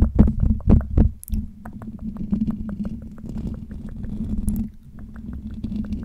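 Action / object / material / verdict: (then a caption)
scrape / metal wire-mesh microphone grille / metal mesh / none. Fingertips of both hands scratch the hollow metal wire-mesh dome grille of a Blue Yeti USB microphone. Heavy, boomy low thumps open the clip, then settle into a steady low droning rumble. Quick, rhythmic scratchy ticks run over the drone throughout.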